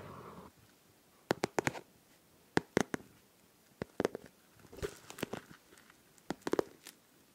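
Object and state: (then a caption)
Liquid-filled plastic pencil case. Long nails tap and scratch a hollow, pink transparent plastic pencil case filled with liquid, glitter and popsicle charms. It opens with a brief soft scratching wash, then a series of sharp, clicky taps with bright edges, coming singly and in quick clusters. Quiet gaps fall between the taps.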